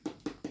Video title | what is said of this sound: ปอกทุเรียนลูกที่ 8 ก็ยังงึกๆงักๆ #happy #durian #durianlover #funny #ทุเรียน #ปอกทุเรียน #สนุก #fun | เคาะมาดังเคาะมันดังเงี้ยหลวม